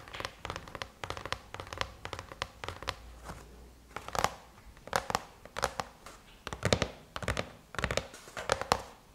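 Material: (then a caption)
Aluminum. Long chrome-painted nails tap rapidly on the closed silver aluminum lid of a MacBook. The result is a quick, uneven run of short, dry clicks with a faint metallic tone and bright edges, some taps louder than others. A low, soft hum sits under the first half.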